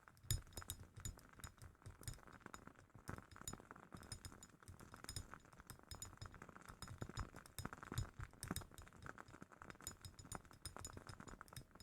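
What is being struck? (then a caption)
Glass candle jar. A glass candle jar holding a wooden-wick candle is tapped quickly and steadily for close-up ASMR, making dense, bright glassy clinks and ticks over soft, low knocks. Each tap dies away almost at once, so the sound stays a quiet, continuous patter with no ringing.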